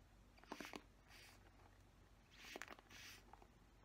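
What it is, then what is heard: Plastic paddle hairbrush bristles scratched. Fingernails scratch the plastic bristles of a black plastic paddle hairbrush in two bursts. Each burst starts with sharp, clicky plucks and moves into a soft, bright, airy rasp. A steady low hum runs underneath the whole time.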